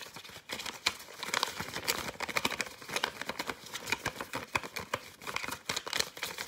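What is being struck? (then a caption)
Folded paper fortune teller. A yellow folded paper fortune teller (cootie catcher), hollow folded paper, is rapidly tapped, scratched and crinkled with fingers and nails. It makes a dense stream of sharp, bright paper crackles and dry taps with almost no low end.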